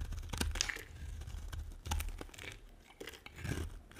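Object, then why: Bar of soap scraped by a metal blade. A metal blade scrapes and carves a solid, dry pink and white bar of soap, producing crisp, crumbly scraping and crunching strokes in irregular bursts. Each stroke has a bright, gritty edge over a soft low thud, with short quiet gaps between cuts.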